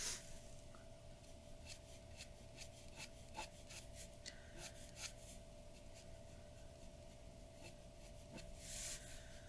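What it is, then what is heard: Paper drawing sheet scratched by a pen. The nib of a glass dip pen scratches across a large flat sheet of white drawing paper on a wooden table in continuous ink strokes. Quiet, dry scratching and rubbing carries bright, short streaks from each stroke over a steady low hum, with a louder rasp near the start and a brighter swell near the end.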